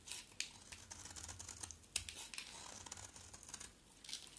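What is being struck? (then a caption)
Solid bar of soap cut with a blade. A box-cutter blade shaves a solid green bar of soap in repeated strokes. The result is a quiet, dry, crisp scraping and crackling, bright and hissy, with sharp little ticks scattered irregularly through it over a faint low hum.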